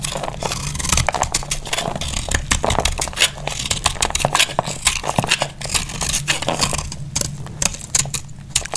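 A small knife cuts brittle flakes from a solid, dry, cream-colored oval soap bar held in the hand. The clip is a dense run of sharp, dry, crackly scrapes and clicks with a bright top, over a low steady hum.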